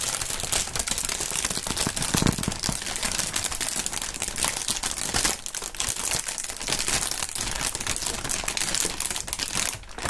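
Clear, thin, partly inflated plastic air-pillow packing film is crumpled and squeezed by both gloved hands. The result is a dense, continuous run of bright crinkling with sharp pops as the air cells burst, and it stays steady throughout with a brief dip near the end.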